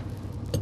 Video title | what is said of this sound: 할부 구매 5,000만 원 중고 화물차 타고 아내가 도로를 달린다│40대 트럭 기사 여자의 하루│현실 맞벌이│다큐 잇│#골라듄다큐 | 이건 통한데 이거는 퍽 하잖아요